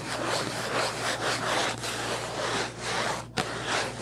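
Long nails rub and scratch quickly across the surface of a hollow purple Kleenex cardboard tissue box, making a steady, breathy, rhythmically swelling scratch that is bright and papery. A faint steady low hum runs underneath, and a brief sharp tick cuts in near the end.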